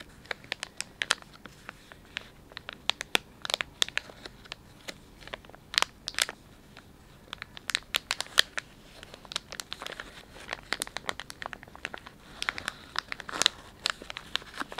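A palm-sized Dettol wet wipes pouch of soft plastic film, filled with wipes, is squeezed, crinkled and rubbed by the fingertips and thumbs of both hands. The result is a dense run of sharp, bright crinkles and crackles over a faint hiss, with almost no low end.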